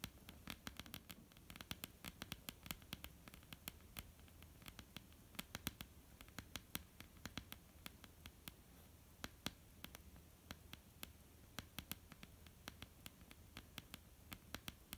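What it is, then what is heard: Wooden tabletop. Long polished nails of both hands tap and scratch a flat, solid, dark wooden tabletop. Rapid, irregular, sharp clicks with bright edges and almost no ring scatter over a soft scratchy texture and a steady low rumble. The overall level stays quiet throughout.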